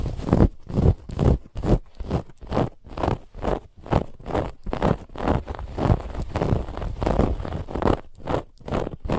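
A soft, stuffed white fabric pillow with a woven textured band across the middle is scratched quickly by the long nails of both hands. A rapid, steady run of rough scratching strokes follows, each a short rustling burst with a deep, full low end and bright hiss on top.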